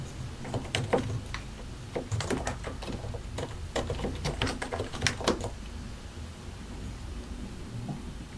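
A compact white and grey mechanical computer keyboard with a hollow plastic case and plastic keycaps is typed on continuously with the fingertips of both hands. Irregular runs of sharp, clicky taps with a bright edge rise over a low steady background hum. The typing is densest in the first five and a half seconds and thins to sparse, soft taps toward the end.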